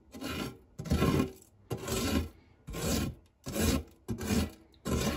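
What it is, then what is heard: Metal tart tin. A silicone spatula rubs and scrapes across the dark textured nonstick base of a shallow, round fluted metal tart tin that is empty apart from crumbs. Seven separate raspy, filing-like strokes are heard, each a broad swish with a low, soft body and a bright hiss on top, separated by short pauses.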